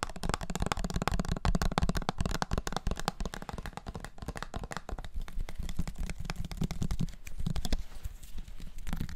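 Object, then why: Plastic bottle with liquid and plastic cap. A small, clear, labeled plastic syrup bottle of dark liquid with a red plastic flip-top cap is held close to the recorder and tapped rapidly with fingertips and nails. The result is a dense stream of quick, dry taps with a soft, thumpy low body and very little ring, with a slightly quieter, sparser stretch in the middle before picking back up.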